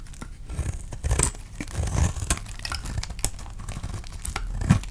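A utility knife blade scrapes and slices strips off the surface of a palm-sized, solid green, dry painted soap bar held in the hand. The clip is a run of dry, crisp scraping and tearing with crinkly, bright edges over soft, low thumps, with louder cuts standing out near the start, middle and end.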